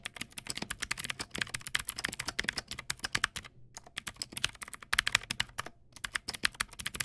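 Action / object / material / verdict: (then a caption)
tap / plastic mechanical keyboard with clicky switches / plastic / none. Fingertips type quickly on a Teamwolf Zhuque+ X08 backlit mechanical keyboard with white plastic keycaps and clicky blue switches. About 45 sharp, bright clacks come in steady bursts, with short pauses near the middle and later on. Each click is crisp and dies away at once.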